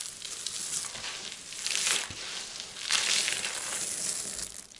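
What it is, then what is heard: Pile of dry soap shavings. Two hands with painted nails press into, rub and scoop up a loose heap of small, dry, multicolored soap chips on a white surface, then drop the crumbs. The result is a steady, bright, crunchy crackle and rustle with almost no low end. It swells louder around the two- and three-second marks before fading at the end.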